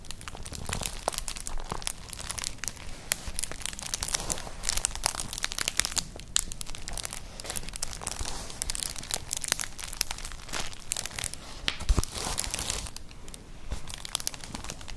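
Long nails scratch and rub across a flat, colourful, hollow woven straw-like clutch purse, producing dense, dry crinkling and scratching with bright, hissy texture and a low rumble underneath. The sound stays steady and close throughout, with brief louder scrapes around 6 and 12 seconds.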